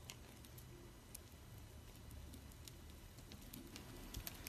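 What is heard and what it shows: A flat metal blade scrapes and carves cubes off a solid green bar of dried soap held in a palm with long red nails, and crumbs fall onto a pile of soap shavings. The result is a quiet, steady low scraping rustle scattered with faint, bright, crisp crunchy ticks.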